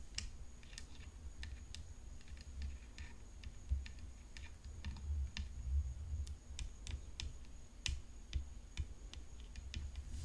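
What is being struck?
Composite tennis racket frame with rhinestones.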